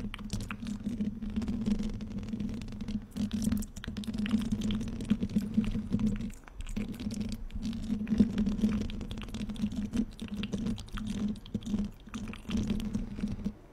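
Long painted fingernails scratch and tap the hollow black metal mesh grille of a large studio microphone. The result is a dense, continuous run of soft scratchy taps with a steady low hum near 200 Hz, briefly dipping quiet around six seconds before resuming.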